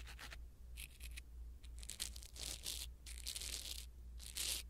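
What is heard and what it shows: A blue silicone-bristle ear pick rubs against a small black foam windscreen on a pin microphone. The result is bursts of bright, airy scratching and rustling that come and go over a steady low hum.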